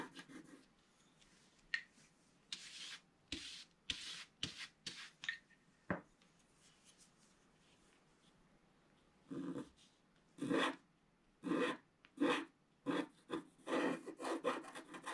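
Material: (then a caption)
Waxed paper. A wooden stylus scratches across a flat page of wax-coated scratch art paper near the bottom of the picture while the other hand holds the page steady. Short, dry, broadband scratching strokes come in quick bursts, then a quiet pause of about three seconds. A second run of stronger, fuller scratches follows.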